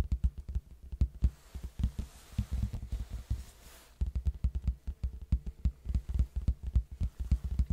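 Fingertips tap the flat face of a large, hollow red cardboard box held sideways near the mic. The result is a rapid run of dull, deep, hollow thumps that die away almost instantly, with a brief lull just before the halfway point before the tapping picks up again.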